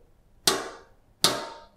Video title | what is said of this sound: RH GKI Sangkrah 27 Desember 2023, Ketika Roti Manna Itu berhenti | Apabila kita ketuk maka dia tidak menimbulkan apa-apa